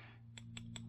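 A steel machine gib resting on a flat surface is tapped three times over a steady low hum, each tap a light, short tick with a bright high ring. The taps land on a worn, thinner spot on the gib, which sounds different from the rest and shows more wear than anywhere else.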